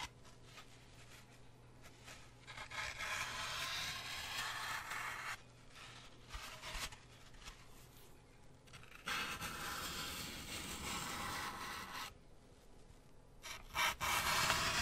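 A solid, brick-sized grey floral foam block is held in one hand while a wooden toothpick is pushed into it and scratched through the foam with the fingertips. Long, bright, crunchy scraping passes rise and fall with quieter rustling gaps between them. The final scrapes are the loudest.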